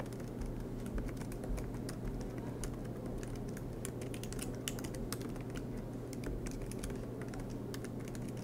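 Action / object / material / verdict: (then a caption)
tap / laptop keyboard with plastic keys / plastic / none. Fingertips tap steadily on the black plastic keys of an aluminum MacBook Pro laptop keyboard, making a stream of soft, quick, irregular clicks with bright, short ticks. The typing continues over a steady low hum throughout.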